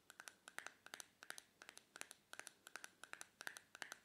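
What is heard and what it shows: Long painted fingernails tap and scratch the magenta plastic lid of a small, closed, likely full white plastic face cream jar held on a towel. About 30 quick, crisp clicks come in uneven clusters over four seconds, each with a bright, dry ring around 1.5 kHz and almost no low end.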